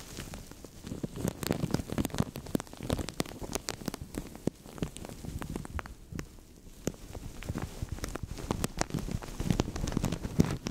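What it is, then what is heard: Thin plastic bag. Fingertips with longish nails squeeze, crinkle and tap a thin translucent plastic bag stretched over a microphone. The result is a dense, close crackling with a heavy low rustle and many sharp, bright clicks, briefly quieter around the middle before picking back up.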